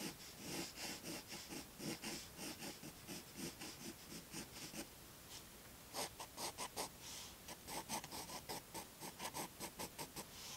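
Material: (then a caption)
Paper. A graphite pencil scratches and rubs across white drawing paper in a large spiral-bound sketchbook lying flat on a wooden table while sketching a hummingbird outline. Quiet, rhythmic, bright, papery strokes follow one another steadily, pause briefly near the middle, then resume in sharper, more distinct bursts.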